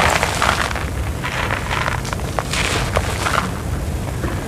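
Bare fingertips and palms scoop up solid, crumbly lumps from a pile of dry, grey, gritty cement-sand on the ground, crush them, and let them crumble and pour back onto the pile beside a small microphone that is not touched. A steady stream of dry, bright crunching and crackling grit is heard over a low, rumbling bed, with brief louder crushes as the clumps break apart.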